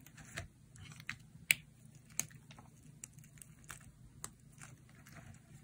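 A metal utility blade slices and scrapes through a dry, solid, hand-sized oval bar of green Dalan soap with a white interior. Quiet, crisp, bright cutting clicks come at an uneven pace, with seven distinct sharp cuts that stop dead with no ring over a faint low hum.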